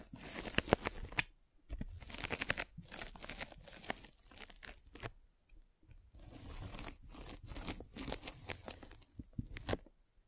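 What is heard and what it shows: A metal-spiked derma roller is rolled over a white polyethylene foam mesh sleeve fitted over a microphone. It makes close, crinkly scratching and tearing-like crackles in bursts with short pauses between strokes. The sound is broadband, with bright high crackle over a soft low rumble.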